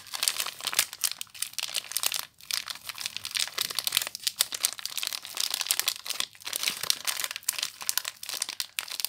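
Fingertips and long nails crinkle and squeeze the clear plastic wrap around a small soap bar, making a steady stream of bright, crackling crinkles. Dense, sharp rustles pile up almost nonstop with only brief pauses, all high in pitch with no low end.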